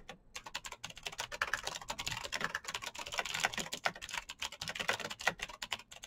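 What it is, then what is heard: Plastic mechanical keyboard. Fingertips type fast on a black Razer BlackWidow mechanical keyboard with plastic keycaps on clicky green switches. A rapid, uneven stream of short, bright clicks and clacks with almost no low end comes through, each keystroke dying away almost instantly. The click tone centers around 2 kHz.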